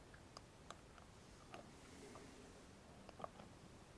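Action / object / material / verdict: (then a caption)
tap / small metal cosmetic jar lid / metal / none. Fingernails of both hands tap and scratch the flat metal lid top and rim of a closed small round cosmetic cream jar. Five sharp, dry clicks with no ring stand out over a quiet bed of soft scratching, some with a bright edge and one around 670 Hz.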